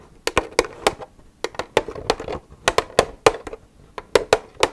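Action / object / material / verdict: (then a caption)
tap / plastic milk jug / plastic / none. Long red nails tap and scratch on an empty, hollow white plastic milk jug, making 18 quick, sharp clicks with bright edges over a hollow resonance around 450 Hz. Soft scratching fills the gaps between taps, and each click dies away almost instantly.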